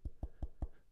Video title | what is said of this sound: Successful Content Creators Focus On This: 4 Crucial Strategies For Content Creation Success | did you hear that that was actual wood